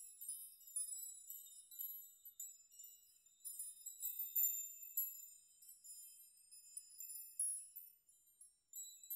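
Fingertips and open hands brush and rock a large curtain of many thin, hollow-sounding metal nails hanging in a dark room, so the nails collide and ring. The result is a quiet, continuous shimmer of high, bright tinkling, with short ringing clusters that swell and fade and no low tones at all.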